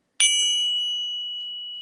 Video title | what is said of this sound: Interview With Sound Money Metals E29 | sounds beautiful you hear the difference in tone